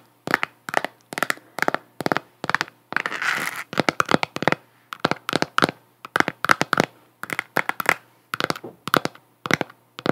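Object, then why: Plastic sphere lamp. Long nails tap and scratch a hollow, galaxy-print plastic sphere of a galaxy moon lamp held toward the camera. Quick, dry, clicky taps come in steady bursts with almost no ring, centered around 1.5 kHz. Midway, a brief stretch of continuous hissy scratching breaks up the tapping.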